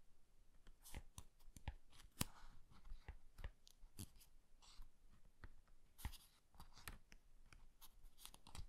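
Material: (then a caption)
Paper. A small paperback book is held open while its paper pages are slowly flipped and riffled with the fingertips. The result is quiet, crisp rustles and soft flicks, with brief bright clicks as the pages snap past, repeating irregularly throughout.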